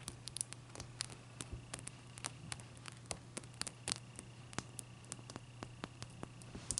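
Long dark-purple nails tap and scratch the sides of a large, clear, solid ice cube with trapped bubbles, standing on a white towel. Sharp, bright clicks come in quick irregular bursts with faint scratchy rustling between them. A steady low hum and a faint thin tone run underneath throughout.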